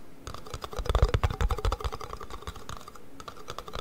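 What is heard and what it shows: Fingertips and nails rapidly tap the bottoms of two identical small, empty plastic yoghurt cups with paper labels, each held upside down in one hand. The hollow cups give quick, irregular clicky taps with soft low thumps and a short hollow ring, swelling into a louder flurry near the first second before settling into steadier, lighter tapping.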